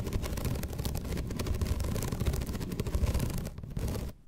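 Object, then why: Bamboo slat placemat. Long red nails scratch rapidly across the ribbed surface of a flat bamboo slat placemat, giving a dense, rumbling, low-heavy scraping texture with quick ticking strokes. The scratching holds steady, then fades to near silence in the final moment.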